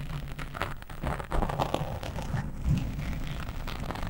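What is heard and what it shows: Long nails on both hands rapidly scratch a black foam windscreen on a microphone. The result is a dense, continuous rumbling scrape that sits mostly in the low end, with soft crackling brushes in the mids and no clear separation between strokes.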